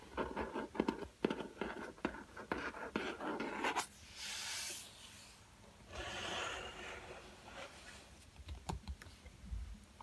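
A black spiral-bound cardboard hardcover sketchbook is tapped on its cover with fingertips, giving a run of quick, dry taps with no ring. The cover is then rubbed with flat fingers, making soft, breathy scraping swells of bright hiss.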